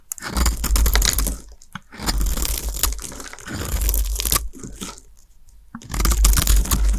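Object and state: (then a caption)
Dry soap bar being scraped. A small blade scrapes and cuts thin shavings off the surface of a solid, pale green, palm-sized dry soap bar held in the hands, with the shavings piling up nearby. Dry, crunchy, tearing scrapes come in three bursts separated by short pauses, with a heavy low rumble beneath bright crackle.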